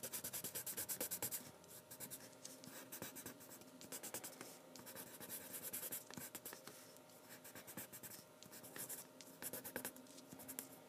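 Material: Paper.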